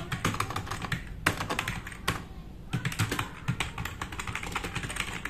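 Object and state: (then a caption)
Plastic mechanical keyboard. A black RGB-backlit tenkeyless plastic mechanical keyboard with plastic keycaps, resting on a wooden desk, is typed on quickly with the fingertips of both hands. A rapid stream of sharp, bright clicks and clacks comes with a low thud under each stroke, with a few brief pauses. The hits crowd close together, and each one dies away almost at once.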